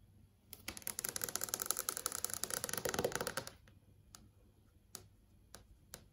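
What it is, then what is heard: Fingernails tapping on an LCD TV screen. Long acrylic nails tap on the surface of a large flat LCD TV screen showing search results. A rapid, dense run of bright, dry clicks fills the first three and a half seconds, then a few sparse, separate taps follow.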